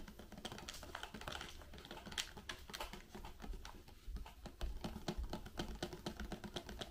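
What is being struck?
Small cardboard candy box with wrapped sweets inside.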